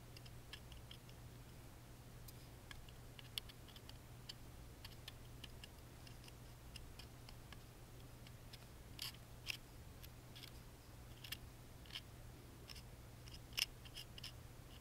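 A wooden toothpick scratches along the engraved pattern on the side panel of a small hollow laser-cut plywood music box held in the hand. Quiet, dry, bright scratchy ticks and clicks, centred around 2.8 kHz, come in irregular bursts over a steady low hum. A few sharper clicks stand out above the rest.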